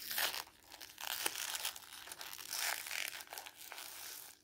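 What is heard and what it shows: A red-and-white printed strip of glossy magazine paper, held between the fingers, is torn and crumpled by hand. The sound is a bright, dry crinkling and ripping with almost no low end, rising and falling in dense bursts and a few sharp snaps before fading out at the end.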